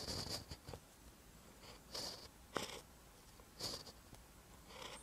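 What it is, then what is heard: Pen writing on notebook paper. A ballpoint pen tip writes on a lined paper notebook page, making soft, bright scratching strokes. About six short bursts of scratching stand out against a quiet background, including one sharp tick near the middle.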